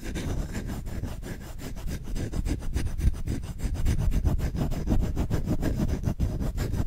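Fingertips scratch quickly and roughly across the back of the bowl of a solid wooden spoon held upright. The result is a continuous, dull, low-pitched rasping made of rapid, uneven strokes, with no bright or ringing tones.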